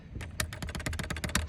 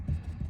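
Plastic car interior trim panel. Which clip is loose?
The first.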